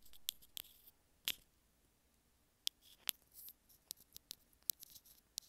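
A small white plastic earphone inline remote is held between fingers while long nails scratch along its length and tap on it. About thirteen quiet, sharp, bright clicks and ticks ring out separately, with faint scratchy rustling between them and almost no low end.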